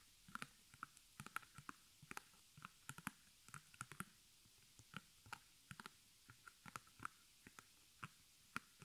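Fingertips and long nails of both hands scratch and tap the front fabric of a small, square white stretched cotton canvas on a wooden frame, embroidered with black arrows, held upright and hollow behind. About 29 short, dry, separate taps and scratchy clicks are heard. Each has a bright edge, a faint papery tone near the middle, and dies away almost instantly over a quiet background.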